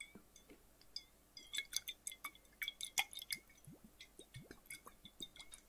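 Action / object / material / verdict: tap / flat glass bottle with water / glass / none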